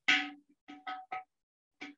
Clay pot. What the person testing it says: it's a low fire it's only been low fired at probably you know 1200 or 1100 degrees